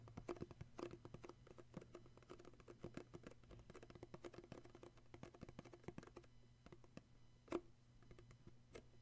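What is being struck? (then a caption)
Small printed cardboard gift box. Fingertips tap quickly and continuously on a small, hollow printed cardboard gift box with an illustrated sleeve and a glossy red side, striking both the top and the red side. The taps are soft, short and muffled, with a hollow midrange knock over a steady low hum. One sharper, louder tap stands out near the end.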